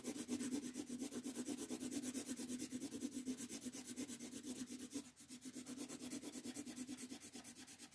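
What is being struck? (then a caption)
Wooden colored pencil on a thin paper sheet over a wooden table. A blue wooden colored pencil, held in the fingers, is rubbed back and forth across a thin paper coloring-book page lying flat on a wooden table while shading. About 22 quick, even scratchy strokes make a bright, papery rasp with a steady low hum near 285 Hz. The strokes briefly soften a little around the five-second mark, then continue.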